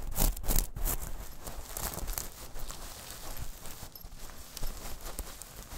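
A small metal mesh clutch pouch is held and then laid flat while long nails scratch across it. The result is a quick, irregular series of dry, gritty scrapes and rustles, loudest in a burst at the start and then continuing more softly with a few sharper strokes.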